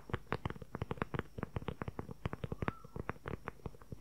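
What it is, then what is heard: Leather journal cover. Fingernails rapidly tap and scratch the same dark brown leather journal cover, producing a fast run of about 28 short, dull taps. The taps are muted and low-heavy, each dying away almost instantly. A faint scratching sweep appears partway through.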